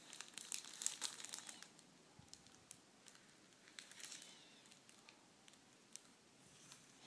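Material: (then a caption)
Plastic film. A plastic packet holding red metallic tissue paper is handled and opened by fingers and nails on a table. Quiet, bright crinkles and crackles come in a dense burst at first, then thin out into scattered sharp ticks and rustles.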